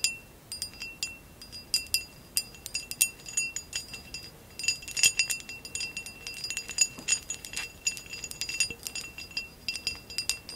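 Long acrylic nails tap and scratch a hollow, empty amber glass vase with a woven relief pattern, held in the hands. Quick, bright glassy clicks and clinks come in dense, irregular bursts, each dying away almost at once with a faint high ring. The sound is quiet and almost entirely high-pitched, with no low end.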